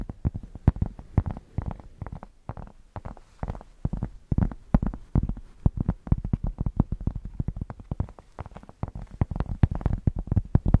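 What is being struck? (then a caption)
Thick cork square. A thick, solid cork square is held close to the microphones and scratched with long nails and fingertips. The result is a rapid, uneven run of short, dry, bassy scrapes that cut off almost instantly, heavy in the low end with little brightness.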